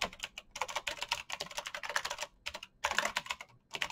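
Bare fingertips type quickly across a full-size black plastic mechanical keyboard with clicky green switches and RGB backlight, its hollow case resting on a desk mat. Dense bursts of sharp, bright clicks with almost no low end cut off quickly, separated by brief pauses.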